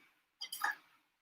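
Deep-fried Bengali lentil pakoras, just taken from the oil, are put onto a plate, landing with three quick, crisp clicks. The dry, bright taps fade fast, showing the pakoras are crisp and fried through.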